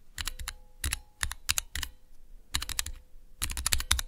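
Individual keys on a small Cherry MX switch tester with clear plastic keycaps are pressed with fingertips and nails. Quick bursts of sharp, bright plastic clicks and clacks, each with a soft low thump, come in uneven clusters with short pauses between them, over a faint steady hum.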